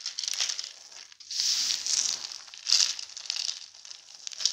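Bare hands scoop, squeeze and crumble a large loose heap of small broken pastel soap shards dusted with starch powder on a white table. The result is bright, dry crunching and crinkling in several swelling bursts, with fine crackles between them and almost no low end.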